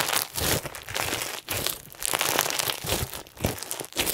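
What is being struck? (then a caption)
Clear slime with plastic sequins. Pink and white clear slime filled with plastic sequins is held in the hands and squeezed and pulled with the fingers and thumbs. Bright, dense crinkling and crunching crackles come in bursts, with short quieter gaps between squeezes.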